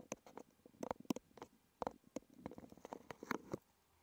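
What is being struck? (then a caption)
Small cardboard box. Fingertips and nails scratch and tap the front face of a small red cardboard medicine box resting on a wooden table. The result is a quiet, irregular run of short, dry taps and papery scratches with almost no ring, mostly in the low-mid range with a few brighter clicks.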